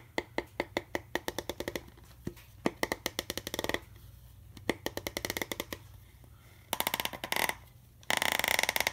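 Fingertips and nails scratch and tap the ridges of an empty clear plastic juice bottle with a ridged neck and a cap, held sideways. Sharp, bright clicking taps come in quick runs separated by short pauses, and near the end they blur into fast, dense scratching bursts.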